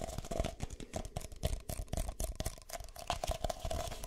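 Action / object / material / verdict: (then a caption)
tap / thin disposable plastic cups / plastic / none. A pair of empty, hollow red-and-white disposable plastic cups, one in each hand, is tapped and scratched with fingertips and nails close to the ears. Quick, dense taps and scratchy crinkles overlap, with soft low thumps and a faint hollow plastic ring.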